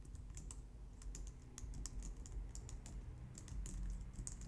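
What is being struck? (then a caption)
Plastic low-profile computer keyboard. Both hands type on a white plastic low-profile wireless keyboard using long painted nails and fingertips. It makes a steady run of quick, light, bright clicks with very short decay over a quiet low rumble.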